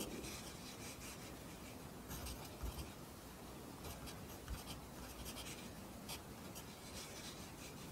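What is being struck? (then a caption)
Pencil on a lined paper notebook. A pencil writes Korean handwriting on an open lined paper notebook, its graphite scratching the paper. Quiet, continuous soft scratchy strokes come in short bright bursts over a low, steady rumble, with a few slightly louder taps along the way.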